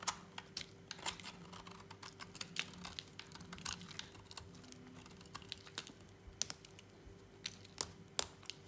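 A thin remaining piece of dry lilac soap bar, held in a hand, is shaved with a utility knife blade. Many quick, crisp, bright scraping clicks and flakes sound in an irregular run, each dying away almost instantly. A faint steady low hum runs underneath.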